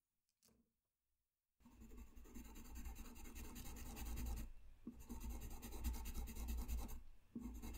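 A colored pencil tip scratches across a flat white paper sheet in continuous coloring strokes. After a faint tap and a moment of near silence, steady, dense scratching begins with a low rumble beneath it. It pauses briefly twice before resuming.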